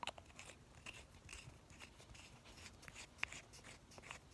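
A small, light blue Essie glass nail polish bottle, partly full, is held in one hand while the fingertips of the other pump its white plastic cap and brush in and out of the neck. This gives a quick run of soft, bright, crunchy clicks and scrapes, with one sharper click standing out near the end.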